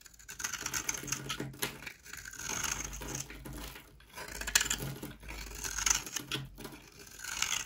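A rectangular, solid, yellow-white Duru bar of dry soap is held in the hand and scraped and shaved with a utility knife blade. The result is bursts of crisp, dry, bright scratching and crackling strokes that rise and fade, as dry flakes fall off.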